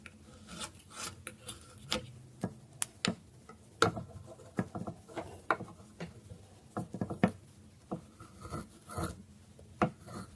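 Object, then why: Bar of soap scraped with a metal blade on a wooden board. A metal blade scrapes the surface of a solid bar of dry soap resting on a wooden board. Short, dry rasping strokes come in a steady irregular series, each a brief scratchy burst with a crisp bright edge and quick decay.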